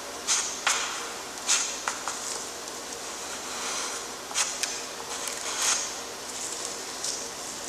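A graphite stick in a gloved hand rubs and scratches the gothic letters f and g onto a flat, lined, gray-toned drawing paper sheet. Bright, dry scratching strokes with several sharp, crisp accents rise over a steady, high, papery hiss, with almost no low end.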